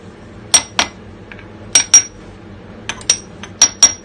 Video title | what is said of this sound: Restauration d'un moteur euro 2 en 50 top noir (partie 2) | ça sonne bon donc je sais que c'est bon pour moi